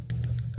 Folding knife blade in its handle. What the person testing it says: you can hear the blade rattling around you can hear it and feel it when you shake it despite not touching it